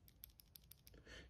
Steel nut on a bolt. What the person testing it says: you can hear an audible rattle